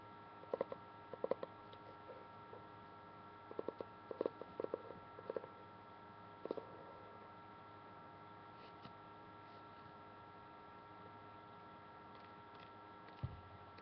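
Long painted nails tap and scratch the laminated paper front cover of a fairly thin, solid *Mary Poppins in the Kitchen* cookbook, and by the end the book is tilted toward the camera. Short, dry clicks come in scattered clusters over a quiet, steady hum, with long pauses between them and one last tap near the end.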